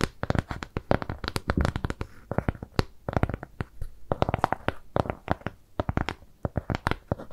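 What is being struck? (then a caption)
Round kraft cardboard piece. Long nails scratch and tap quickly across a flat, round brown kraft cardboard shape trimmed with jute. The result is a dense run of dry, papery clicks and scrapes with no ring. Each tap has a soft low thump under a brief, bright tick.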